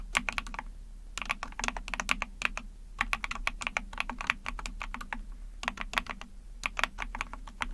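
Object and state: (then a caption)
Plastic mechanical keyboard. Rapid bursts of key presses on a small 44-key Epomaker TH40 mechanical keyboard, with an ABS plastic case, PC plate, backlit pink and white keycaps, typed with long painted nails and fingertips. The short, bright plastic clacks peak around 2.4 kHz over a soft low thud and stop dead after each press. Quick runs of typing are broken by brief pauses.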